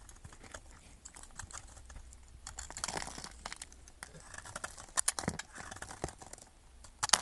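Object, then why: Bar of soap scraped with a metal knife. A metal knife blade scrapes and carves a solid yellow bar of soap held in the fingers, shaving it into fine shavings. The sound is a steady run of dry, bright scratching and crackling ticks, with a few sharper, louder snaps of the blade near the middle and again at the very end.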